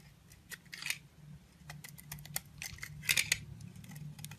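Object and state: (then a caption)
Bar of soap being shaved with a blade. A utility knife blade shaves the surface layer off a solid pink oval bar of soap with dark hearts and a lilac interior, held in fingers with long glittery pink nails. It makes quick, crisp, bright scraping strokes with very short decay over a faint low hum. The loudest cluster of strokes comes near the end.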